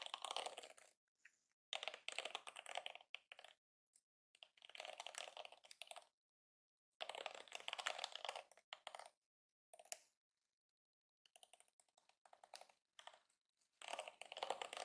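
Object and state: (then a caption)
Plastic hairbrush bristles flicked. Fingertips and nails run across and flick the flexible plastic bristles of a yellow and pink plastic detangling hairbrush held in both hands. The result is quiet, rapid, dry ticking and clicking in dense bursts, bright with no low end, separated by short silences.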